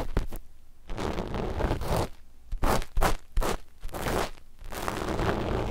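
The cotton tips of two cotton swabs scratch a flat sheet of dark black knit fabric laid over the microphones, right at the mic positions. The scratching comes as quick brushing strokes and longer rasping rubs. It is heavy in low, muffled rumble and broken by short quiet gaps.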